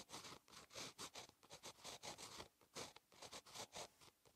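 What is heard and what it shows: A ballpoint pen tip scratches across a lined paper notebook page, a solid flat sheet, while handwriting, making a quiet run of short, bright, dry scratchy strokes. Partway through, the pen briefly lifts and there is a short pause before the strokes resume on the same page.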